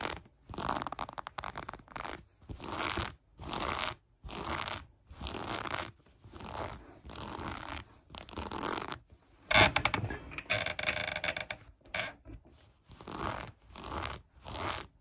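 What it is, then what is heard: Cotton sweatpants waistband being scratched. Long acrylic nails rapidly scratch the light gray ribbed elastic waistband of cotton sweatpants lying on a table. The sound comes in repeated short bursts of bright, raspy, papery scratching, separated by brief silences. One burst near the middle is louder and crisper than the rest.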